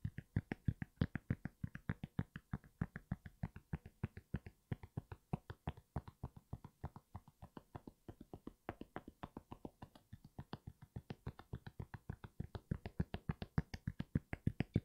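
Fingertips and nails rapidly tap and scratch a grey and white NMD sneaker, hollow and empty and held upright in one hand, with a fabric knit upper on a foam Boost sole. The result is a steady run of quick, dull, low thumps with very short decay and faint soft scratching, continuing throughout.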